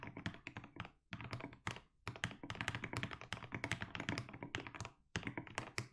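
Fingertips type continuously on a compact mechanical keyboard with plastic keycaps, giving a fast run of deep, thocky key presses. Each stroke is a short, dry thunk with a low body and a bright click on top. Brief pauses break the steady typing.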